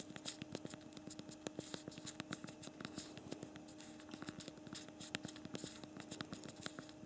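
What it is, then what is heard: Plastic phone keyboard being typed on. Both thumbs type on the backlit physical plastic keyboard of a BlackBerry Priv smartphone, producing a rapid, uneven stream of short, crisp key clicks with bright ticks. A faint steady low hum runs underneath throughout.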